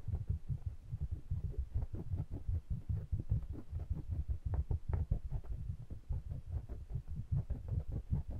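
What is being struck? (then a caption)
Pair of small metal-bodied condenser microphones. Fingertips rub and tap the metal bodies of two small pencil condenser microphones with mesh grilles, held in the fingers. The result is a rapid, uneven stream of deep, muffled thumps and soft rubbing, centered very low with almost nothing bright. Each tap dies away almost instantly.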